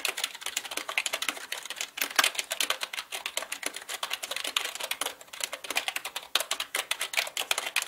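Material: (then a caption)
Plastic. Fingertips type fast on the plastic keycaps of a black full-size mechanical computer keyboard. The result is a dense, continuous run of sharp, bright clicks and clacks, each dying away almost instantly, with no low end.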